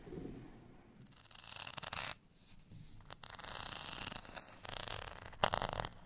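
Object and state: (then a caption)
Textured plastic rice paddle being scratched. Fingernails scratch the bumpy, dotted face of a small, solid beige plastic rice paddle. The result is dry, bright, raspy scratching in uneven bursts with short pauses between them, ending with a sharper, louder scrape.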